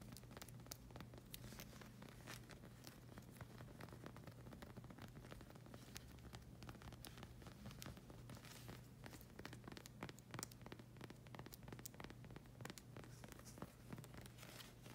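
Long red acrylic nails scratch across the solid black rubber sole of a slide sandal with a circular tread pattern. The result is a quiet, steady stream of quick, dry scratches and bright crackling ticks over a constant low hum.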